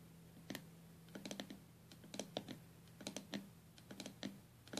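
Long gold-tipped acrylic nails tap and scratch across the glass lid of a small lidded box with white-purple stained glass panels joined by metal came lines. Quick, bright clicks come in irregular clusters and die away almost at once. A steady low hum runs underneath.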